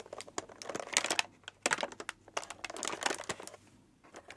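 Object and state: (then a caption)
Tissue paper crinkling. Light blue tissue paper wrapped around a small cylindrical gift is squeezed and crinkled by fingertips and long nails while held in both hands. The clip is full of quick, bright, crackling crinkles in dense bursts, with brief pauses between them.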